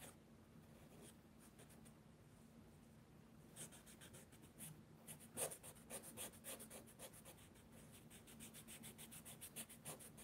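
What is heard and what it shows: A charcoal pencil held in the fingertips scratches and rubs across a large spiral-bound mixed media paper sketchbook lying flat on a wooden table while shading a drawing. Soft, papery strokes start faint, then from about 3.5 seconds become a steady run of short, bright scratches over a low hum.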